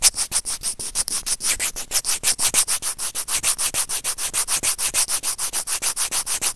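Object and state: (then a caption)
Plastic earphone mic remote being scraped. White plastic tweezers with serrated tips, held in the fingers, grip and scrape the hollow housing of a small white plastic Apple earphone inline mic remote. About forty quick, evenly paced rubbing and scratching strokes come in a steady rhythm over nearly seven seconds. Each stroke is a bright, hissy scrape with no ring after it.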